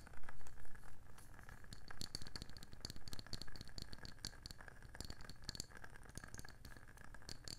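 Long nails tap rapidly on the rim and underside of a round wooden candle lid with layered rims. The result is a quick, irregular patter of short, dry clicks with a soft low thump beneath them and almost no ring after each tap.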